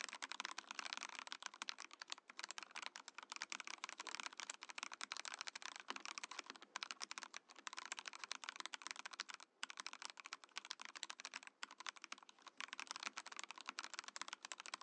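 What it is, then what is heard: Mechanical keyboard with plastic case and keycaps. A compact Mojo68 Mojopad mechanical keyboard with a clear, translucent plastic case and plastic keycaps is typed on steadily with the fingertips. It gives a dense, bright stream of sharp plastic clacks with almost no low end, each click dying away at once, and the rhythm breaks briefly twice near the end before resuming.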